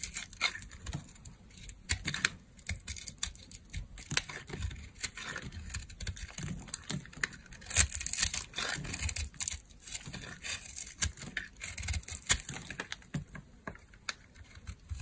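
A solid, dry, dark brown bar of soap is carved with a utility knife blade while held in a long-nailed hand. Many quick, dry scraping and crumbling cuts follow one another, with a bright, crisp texture and almost no ring.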